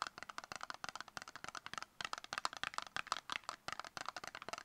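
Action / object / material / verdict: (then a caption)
tap / small cardboard cosmetic box / cardboard / none. Long acrylic nails rapidly tap and scratch a small, hollow, brown rectangular cardboard cosmetic box that likely holds a product. About 28 quick, dry clicks rattle out with a papery scratch between them. They are crisp and bright, centered in the upper midrange with almost no low end, and each one stops instantly.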